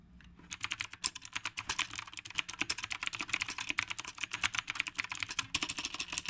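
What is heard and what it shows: A black retro typewriter-style mechanical keyboard with round plastic keycaps is typed on continuously with the fingertips of both hands. After a brief quiet moment, a rapid, steady stream of crisp, bright clacks follows. Each click is sharp and short, with almost no low-end body and no ring.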